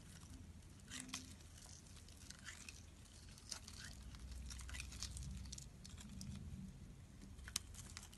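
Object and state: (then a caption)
Bar of soap being carved. A solid pink rectangular bar of soap, held in the hand, is shaved with a metal utility blade so chunky pieces chip off. Quiet, crisp scraping and crackling bursts come and go over a soft low rumble, with one sharper bright snap near the end.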